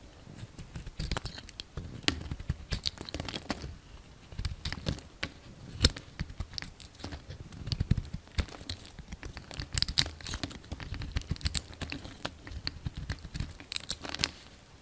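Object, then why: Bar of soap. A solid green and white bar of soap, held in the palm, is carved and chipped with a utility knife blade. Dense, crisp scraping and brittle crackling clicks come in uneven bursts, with bright ticks over soft low thumps. Small chips flake off steadily throughout.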